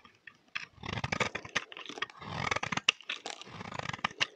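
A solid oval green bar of soap held in the hand is shaved with a utility knife blade, scraping off curls. Short, bright, crackling scrapes come in uneven bursts, with sharp clicks at a few blade strokes.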